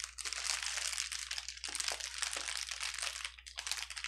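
A clear plastic bubble wrap sheet on a table is squeezed, lifted and pressed flat with fingers and palms. It gives a dense, continuous, bright crinkling with sharper crackles mixed in, over a faint low steady hum.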